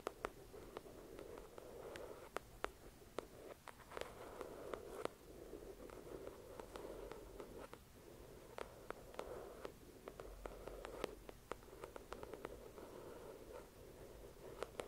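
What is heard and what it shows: Long acrylic nails tap the glossy cover of a thick paperback novel resting on a white cloth. Many sharp, dry clicks with no ring-out sit over a soft, steady scratchy rustle. The whole clip stays quiet and close.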